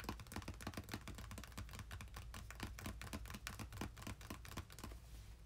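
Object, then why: Closed cardboard box with contents. Fingertips of both hands rapidly tap and drum on the top of a small, closed, red printed cardboard game-console box with its contents inside, resting on a bed. The result is a quick, steady patter of soft, dry, hollow taps with a low thump and almost no ring, quiet throughout, with the taps thinning out near the end.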